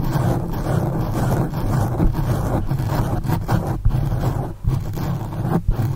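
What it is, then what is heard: Foam microphone windscreen being scratched. Both hands scratch and rub the sides of a black foam windscreen on a condenser microphone with long acrylic nails. The result is a steady, dense, muffled rumbling scratch, heavy in the low end with almost nothing bright, broken only by a few brief dips and soft thumps.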